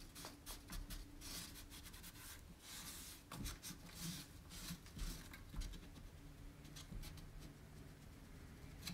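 A cloth held in the fingers wipes and rubs the inner rim and lattice centre of a round, shallow, white-painted distressed wooden tray that is hollow and empty. Soft, bright rubbing swishes come in repeated strokes over a steady low hum. The strokes stay quiet and dry, with almost no ring after each one.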